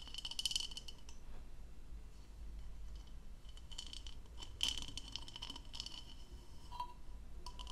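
Long nails tap and scratch the outer surface of an empty, hollow turquoise plastic goblet with a textured diamond-pattern bowl as it is held in one hand, tilted and turned. Quick, bright clicks and scratchy rasps carry a short ring near 3 kHz, over a steady low rumble.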